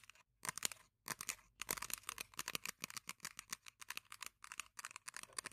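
Long painted nails scratch and tap the sides and base of an empty, small, hollow white printed paper cup held upside down in the hands. Quiet, dry, bright crackling and papery ticks come in rapid bursts separated by brief silences, with almost no low end and no ring after each touch.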